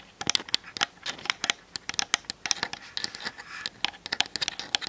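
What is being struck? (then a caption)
Plastic DSLR camera body. Long nails tap and scratch quickly across the top and sides of a Canon DSLR camera's plastic body. The result is a rapid string of dry, bright clicks that stop instantly, mixed with short scratchy rasps. There is almost no low end.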